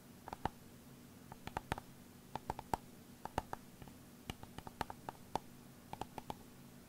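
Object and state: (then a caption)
External hard drive casing tapped. An old 500 GB external hard drive is tapped on its casing with quick, irregular taps in loose clusters, 24 in all. Each tap is a short, dry click with a faint ringing tone near 880 Hz that dies away almost at once, over a quiet low hum.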